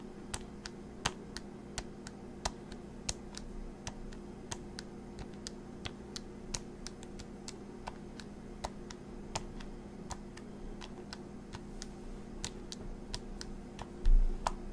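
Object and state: Plastic calculator keys clicking.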